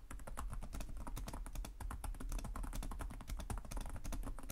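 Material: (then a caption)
Plastic. Both hands' fingertips tap rapidly on the low-profile plastic chiclet keys of a black plastic laptop keyboard with a hollow body. The result is continuous typing: a dense, quick stream of short clicks, each with a bright top over a low, hollow thud.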